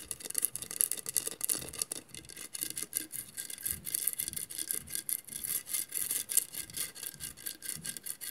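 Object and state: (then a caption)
Glass mosaic vase scratched with nails. Long nails scratch quickly back and forth across the textured mirrored glass tiles of a hollow glass mosaic vase. The result is a dense, bright, rasping scrape made of many rapid short strokes with little low end and almost no ring.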